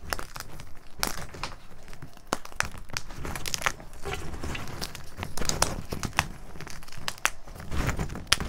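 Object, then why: Gym chalk chunks in a metal bowl. Fingertips of both hands squeeze, crush and rub solid, dry, crumbly broken chunks of blue-dyed gym chalk (magnesium carbonate) into powder inside a metal bowl. The result is a continuous crinkly crunching texture scattered with sharp, bright cracks that die away instantly, over a soft low rumble.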